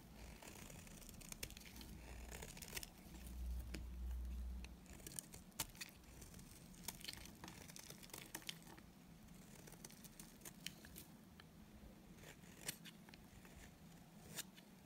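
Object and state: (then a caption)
Dry bar soap being shaved. A solid, dry white bar of soap held in the hand is shaved with a utility knife blade, producing brittle flakes. Soft, crackly scraping runs throughout over a low steady hum, punctuated by sharp, bright snaps as the blade cuts through. A louder, fuller stretch of scraping comes early on.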